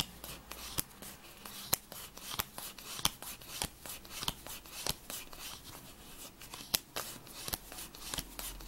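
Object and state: Paper playing card deck being shuffled.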